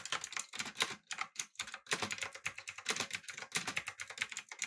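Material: Plastic.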